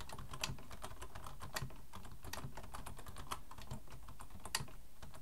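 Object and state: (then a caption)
Plastic computer keyboard. Both hands type with their fingertips on a black plastic full-size Logitech keyboard resting on a wooden desk. The result is a steady run of quick, bright clicks and clacks over a constant low hum.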